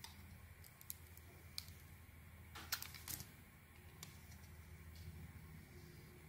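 A small metal blade carves curls from a solid soap bar with a purple coating and a white core. Quiet, bright scraping and a few sharp, short clicks sit over a steady low hum, with a denser burst of crisp scraping just before the midpoint.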